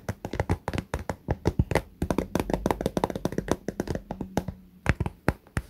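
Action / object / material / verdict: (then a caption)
tap / fabric cosmetic pouch with clear vinyl window, filled with toiletries / fabric, vinyl / none. Fingernails of both hands tap rapidly along the top edge and clear vinyl window of a small pink fabric cosmetic pouch full of toiletries. The result is a quick, uneven stream of short, dull, low-pitched taps that die away almost instantly, with little brightness.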